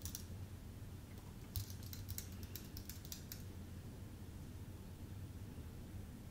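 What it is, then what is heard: Aluminium and plastic keyboard being typed on. Fingertips type on a full-size white Apple Magic Keyboard with an aluminium base and plastic keys. Soft, bright key clicks come briefly at the start and then in a quick run through the middle of the clip, each dying away almost at once. A low, steady hum sits underneath throughout.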